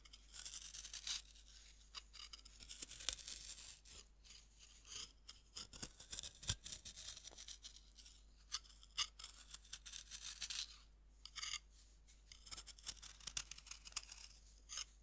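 A metal knife scrapes powder off a fist-sized, solid pink pressed-powder bath bomb held in hand over a wooden board. Quiet, dry, bright scraping strokes come in repeated bursts with short pauses between them, each scrape rasping and crumbly with almost no ring.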